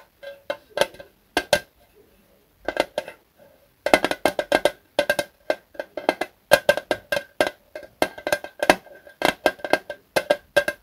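Fingertips tap in quick, uneven bursts across the sides of a small Zippo lighter fluid can, a thin, hollow metal can with a red plastic spout cap, held in both hands. Each tap gives a short, dry, hollow tick with a faint mid-pitched ring around 625 Hz that dies away almost instantly, with very little low end. The taps come in rapid clusters separated by brief pauses.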